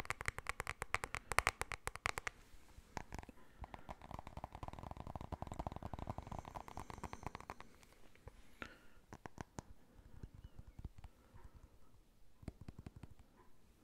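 A small, solid black smartphone with a glossy glass back is held in both hands and tapped and scratched with fingertips and nails. Quick, bright clicking taps come first, then a steady scratchy rubbing centered around 1 kHz, then sparser, softer taps toward the end.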